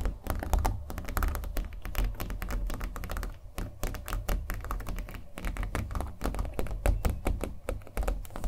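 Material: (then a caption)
Canvas. Fingernails tap rapidly and continuously on a small stretched canvas on a wooden frame, coated in thick acrylic paint and held in the hands. Each tap is a short, hollow, low thunk that dies away almost at once, and the taps run together into a dense, irregular patter for the whole clip.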